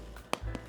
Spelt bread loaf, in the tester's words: nice and hollow sounding on the bottom